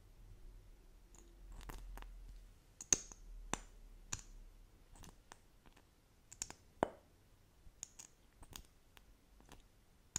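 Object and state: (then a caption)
Plastic lip gloss tube. A small, slim plastic lip gloss tube, apparently filled with gloss, is held in both hands and tapped along its body with long acrylic nails. Crisp, bright clicks come at an irregular, unhurried pace, each dying away almost instantly over a quiet low background hum.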